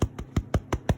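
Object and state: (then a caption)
Hollow-sounding baked bread loaf. A freshly baked focaccia-style white bread loaf, just taken from the oven, is tapped six times on its bottom, giving short, dull, low thuds with almost no ring. The hollow sound shows the bread is cooked through.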